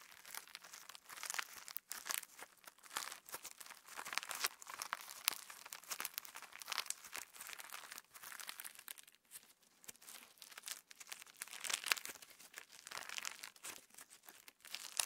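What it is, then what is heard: Sequin slime being kneaded. A handful of translucent pink PVA slime packed with plastic star sequins, a soft, solid mass, is kneaded, pinched and squeezed between fingertips and thumbs close to the mic. It gives a dense, continuous stream of bright, crisp crinkling and crackling with short squelchy bursts, all quiet and high-pitched with almost no low end.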